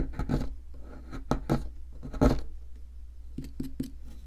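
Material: Plaster.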